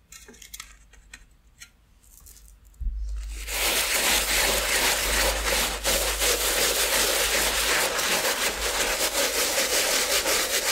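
A wooden-handled bristle brush scrubs the leather upper and toe of a hollow, unworn white leather Asics sneaker with a rubber platform sole, held on a towel. Faint, soft rubbing gives way to a low bump, then loud, steady, bright scratchy bristle strokes that keep a quick back-and-forth rhythm to the end.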